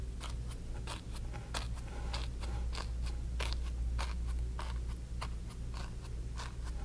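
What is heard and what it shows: A flat bristle brush dabs and strokes wet acrylic paint across a small stretched cotton canvas on a wooden frame lying flat on a table. Quick, bright, scratchy bristle swipes and soft taps repeat at an uneven, brisk pace over a steady low hum.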